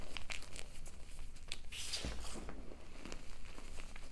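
Fingertips and long nails press, squeeze and rub into a large, soft mound of loose white gym chalk (magnesium carbonate) powder crushed from five ADER and BSN blocks, crumbling the clumps. The result is a quiet, steady stream of soft, dry crunches and crinkles with short, crisp high ticks over a low, muffled rumble.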